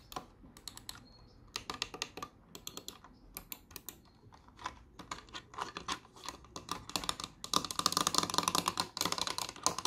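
Fingertips and long nails tap and click the buttons and shell of a small, hollow, green and white plastic computer mouse resting on a wooden desk. Short, sharp, bright clicks and taps come in irregular bursts. They grow denser and louder toward the end.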